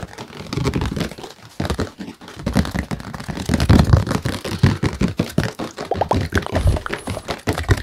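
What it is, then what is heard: Acrylic-painted stretched canvas. Fingertips rapidly rub and scratch the painted surface of a small square acrylic-painted stretched canvas, a colorful Buddha face on a wooden frame with a hollow space behind it, held up in one hand. The result is a dense, continuous run of dry, crinkly scratches and soft taps with a hollow, boomy low end and very short decay.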